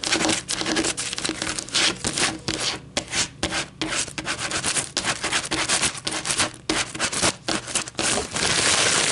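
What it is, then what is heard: Paper coffee filter. Long metallic nails scratch rapidly back and forth over a flattened white paper coffee filter lying on a table. The result is a dry, bright, papery rasping in quick bursts separated by brief pauses, ending in a steadier stretch of continuous scratching.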